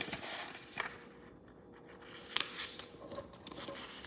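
A thin square sheet of green origami paper on a wooden table is folded into a triangle and creased with fingertips rubbing along the folds. Soft, bright paper rustling and dry scraping fill the clip, with a brief, quieter lull in the middle before sharp crinkles and crisp scratches return.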